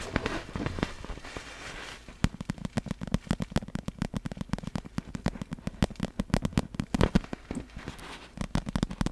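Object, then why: Clear vinyl inflatable ball. Long black fingernails tap rapidly on the top surface of a large, hollow, clear vinyl inflatable glitter ball resting in front. After about two seconds of softer, denser scratching, sharp, quick clicks take over. Each click has a short, hollow, low thump beneath it and dies away almost instantly.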